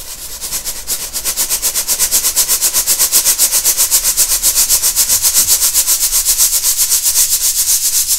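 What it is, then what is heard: Baking soda powder sifted through a metal sieve. A round stainless steel mesh sieve full of purple baking soda powder is held by hand and shaken, sifting the powder onto a white table. It makes a steady, regular train of bright, hissing rasps, about four per second, that grow a little louder after the first second and keep going throughout.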